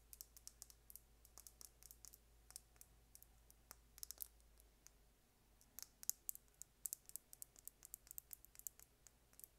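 A small, slim, hollow plastic lip gloss tube with a gold and blue cap is held up and tapped and scratched with long painted nails. About 38 quiet, sharp, bright clicks and light scratches come in quick irregular bursts, each dying away almost instantly, with a brief lull near the middle. A faint low hum sits underneath.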